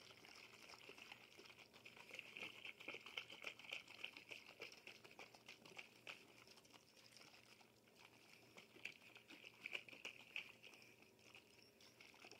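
A glass bottle is tapped and shaken in dense, irregular bursts of quick, bright clicks and rattles. A high, glassy tone rings through the clicks, and almost nothing is heard in the low range.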